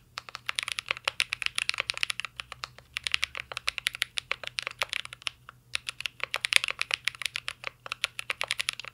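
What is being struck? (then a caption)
Mechanical keyboard with aluminium case and plastic keycaps. Fingertips of both hands type steadily on a full-size CYBERBOARD R3 mechanical keyboard with an aluminum case, plastic keycaps and Holy Panda switches. Dozens of quick, bright, clacky keystrokes come in fast bursts with brief pauses. Each tap is sharp and dry, with almost no ring or low end.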